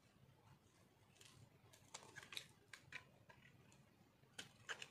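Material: Soap.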